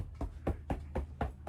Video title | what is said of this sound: Proof Upkeep Makes them Last!! 1999 Wildwood 27RKSS | you can hear how it doesn't suddenly get soft and spongy all the way down